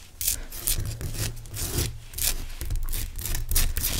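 Fingernails scratch and tap the front of a large, pale rock salt lamp made of solid, rough crystal. Bright, dry scratching bursts come in quick repeated strokes over a steady low rumble, with short sharp taps between them.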